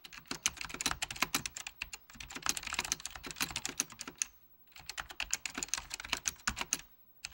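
Fingertips of both hands type on a full-size beige plastic Apple Extended Keyboard II with mechanical key switches. The result is a fast, steady run of crisp, bright key clicks with very little low end and almost no ring. The typing pauses briefly around the middle, then resumes before stopping near the end.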